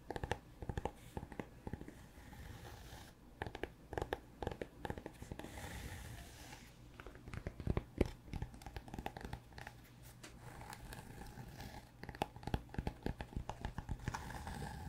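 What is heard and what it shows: A solid, brick-sized rectangular cork block is held in one hand close to the microphone and scratched and tapped with fingertips and nails. Dense, dry scratching runs throughout, with many short taps and clicks that die away almost instantly. The sound is soft and low-heavy, with little bright content.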